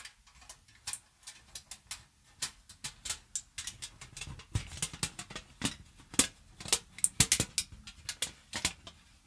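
A crumpled sheet of thin aluminium foil is held in both hands near the mic and crinkled and scrunched with fingertips and long nails. The result is a rapid, irregular series of sharp, dry, bright crackles and snaps that die away almost instantly, with little low-end body beneath them.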